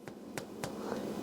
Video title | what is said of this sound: Easy Cast Iron Skillet Rosemary and Sea Salt Focaccia Bread - Twisted Mikes | it sounds Hollow it's done